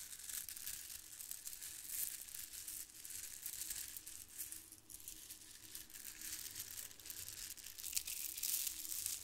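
Strands of a white plastic faux-pearl bead garland are cupped between the palms and rubbed, then squeezed and lifted with the fingers so the beads clack together. The result is a quiet, dense stream of bright clicking and crinkly rattling, mostly high-pitched, with small dips and swells but no clear pauses throughout.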